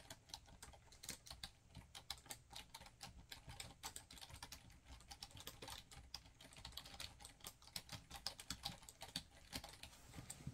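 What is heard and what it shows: A black plastic laptop keyboard is typed on rapidly with fingertips. The dense stream of quick, crisp, bright clicks has a soft low thump beneath each key press, and each tap dies away almost instantly.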